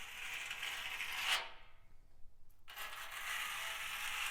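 A nail worn on a fingertip scratches across a rusty steel drum, making a bright, hissy metallic scrape that swells into a sharper accent. After a brief near-silent pause, the gritty scratching starts again and continues to the end.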